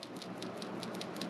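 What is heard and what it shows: A Megabass Dark Sleeper soft plastic swimbait, with a 3mm glass rattle pressed horizontally inside until it disappears, is shaken. The glass bead gives a faint, repeated rattle of soft clicks over a steady low hiss.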